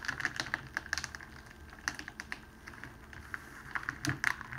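A thin, clear cellophane wrapping strip lying on a table is folded by both hands and pressed down with the fingers, crinkling it. Quick, dry crackles and sharp clicks come in irregular bursts over a faint low background hiss, with bright snaps that die away almost instantly.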